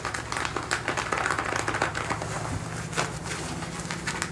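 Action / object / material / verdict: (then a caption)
scrape / cotton denim jeans / denim / none. Fingertips and nails scratch and rub worn blue denim jeans, the thick cotton twill stretched over a raised thigh. A continuous, dense rasping texture of quick scratchy strokes with brighter bursts sits over a faint low hum throughout.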